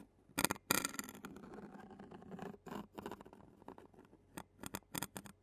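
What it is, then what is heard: Metal mesh microphone grille tapped and scraped with a plastic spoon. A clear plastic spoon taps and scrapes the black metal mesh grille of a handheld Zoom recorder. Sharp, bright clicks break up a stretch of softer scratchy scraping, then a quick run of separate taps follows near the end.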